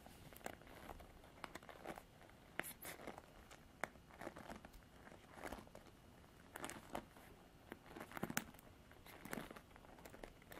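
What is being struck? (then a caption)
Plastic paddle hairbrush with bristles. Long artificial nails scratch the black bristles of a Revlon paddle hairbrush with a plastic body. Soft, crinkly scratching bursts and brief sharp clicks repeat irregularly over a quiet background, each sound dying away almost at once.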